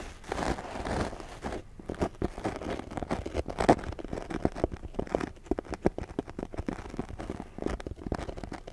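Fingertips of both hands, one wearing a ring, scratch and rub a small, soft black foam windscreen fitted over the head of a Blue Yeti microphone. The result is a dense run of close, muffled crunching and crinkling scratches, with quick dry bursts mostly in the low and mid range.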